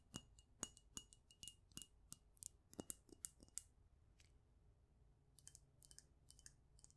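Long nails tap the sides and gold cap of a small black glass perfume bottle held in both hands, making quick, bright clicks with a faint glassy ring near 3 kHz that dies almost at once. The taps come in an uneven run, pause briefly around the middle, then return more softly.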